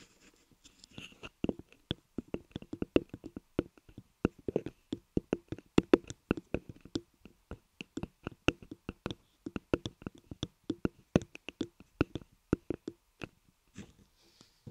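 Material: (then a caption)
Soap. Small bars of white laundry soap are held between fingers and rubbed and pressed against solid ear models carved from soap on a soap block. The result is a quick run of short, dry tapping and scraping clicks with almost no ring, mostly low-mid in tone with occasional bright edges.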